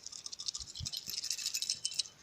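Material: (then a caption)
Glass. A broken glass neon tube with a loose electrode is shaken, and its base, which is empty inside, rattles rather than the filament. The result is a rapid, bright, tinny rattle of small clicks concentrated in the high frequencies, with no low-end body.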